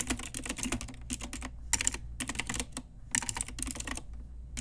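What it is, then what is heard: Plastic mechanical keyboard being typed on. Long nails and fingertips type on a pink Ajazz retro typewriter-style mechanical keyboard with round plastic keycaps. Quick bursts of sharp, bright clacking keystrokes come in fast runs separated by short pauses, each click dying almost instantly over a faint low hum.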